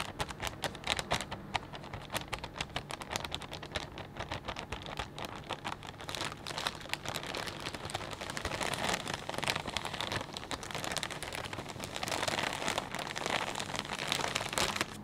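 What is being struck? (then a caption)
Plastic bag of potato chips. Fingertips press and crinkle a clear plastic bag full of potato chips. The result is a dense, continuous stream of sharp, bright crackles and crisp snaps that grows busier and louder through the second half.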